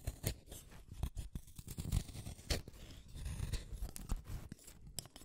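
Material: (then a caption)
Wood. A pink wooden colored pencil, a small solid stick, is shaved one at a time by the metal blade of a yellow plastic hand sharpener. The clip is a steady run of dry, crunchy scraping cuts, heavy in the low end, with short sharp bursts flicking up into bright high tones. The cuts stop dead with no ring.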